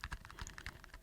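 A paperboard perfume box with the bottle back inside is tapped in a quick, light series. The taps sound hollow and soft, with a low thump under each short, dry click and almost no ring.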